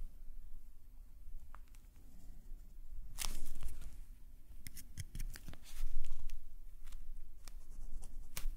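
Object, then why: Paper sketchbook page scratched by a metal pen nib. A metal calligraphy nib scratches short strokes of green ink across a black paper sketchbook page held flat by the other hand. Quiet, dry, bright scratches come in quick, uneven bursts over a soft low rumble, with a few louder swells of scraping.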